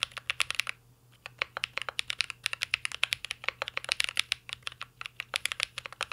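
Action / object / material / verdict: tap / mechanical keyboard with plastic keycaps in a metal case / plastic / none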